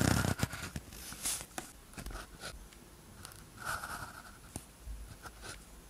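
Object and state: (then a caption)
Ballpoint pen writing on paper. A blue ballpoint pen tip scratches across a thin paper practice sheet with a red grid, lying flat, while writing characters. Soft, dry scratching strokes come in short bursts with brief pauses between them, after a louder rustle at the start. The sound stays quiet and close throughout.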